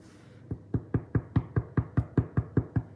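Twelve steady knocks on a freshly baked loaf of bread give short, low, hollow thuds in a regular rhythm, each dying away almost at once. The hollow sound shows the loaf is baked through and perfectly cooked, so it is left to cool before being cut.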